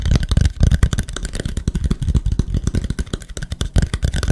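A small, flat, solid wooden plank with visible wood grain is held up close and tapped fast with the fingertips of both hands. The result is a rapid, uneven run of dull, low knocks that each stop almost at once, with very little high-end brightness.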